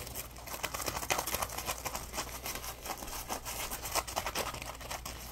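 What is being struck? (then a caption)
Polymer foam sponge. A small, dry, yellow-orange Scrub Daddy polymer foam sponge, solid and porous, is held in both hands and squeezed, scratched and rubbed with fingertips and short nails. The result is a continuous run of bright, crinkly scratching and squeaky rubbing with frequent short spikes, over a faint steady low hum.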